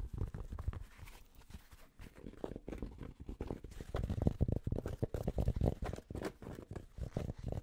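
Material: Cotton fabric.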